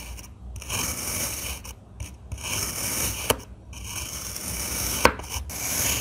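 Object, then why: Kinetic sand block cut with a metal knife. A stainless steel crinkle-cut knife slices repeatedly through a solid, roughly hand-sized block of damp blue and green kinetic sand resting on a white surface. Each cut makes a bright, grainy crunching rasp with brief gaps between strokes and a couple of sharper clicks.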